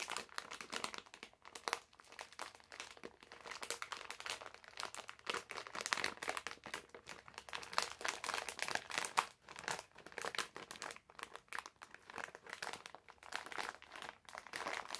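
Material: Plastic film.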